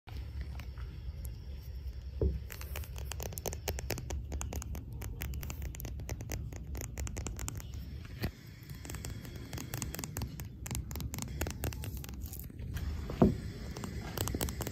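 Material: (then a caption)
Resin. Long painted fingernails tap and scratch a single small, solid, hard resin billiard ball, the red and yellow striped number 11, held on a felt table. Quick, dry clicks and scratchy patter run over a steady low rumble, with a few louder knocks standing out.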